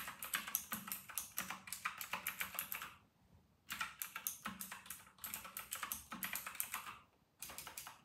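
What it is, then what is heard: Plastic mechanical keyboard. Fast two-handed fingertip typing on a full-size white RK960 plastic mechanical keyboard with round retro plastic keycaps. Rapid, bright, crisp clacks run in bursts, with brief pauses near the 3-second and 7-second marks before the typing resumes.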